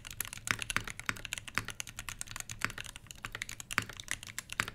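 Both hands type rapidly with their fingertips on a full-size HBCP mechanical keyboard with Everglide Crystal Purple switches, plastic keycaps over a brass plate and a solid body, resting on a fabric desk mat. A dense, fast stream of short, bright clacks is broken by sharper, louder strikes. Each one dies away almost instantly, with little low end.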